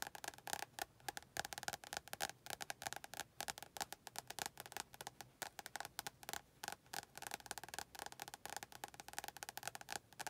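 Long painted nails rapidly tap and scratch the glossy card front cover of a medium-size paperback, "100 Words Every Middle Schooler Should Know," a solid paper block held closed in both hands. About fifty quick, dry, clicky taps with a woody tone centred near 800 Hz and a bright edge. Each tap dies almost instantly, with scratchy texture between them and almost no low end.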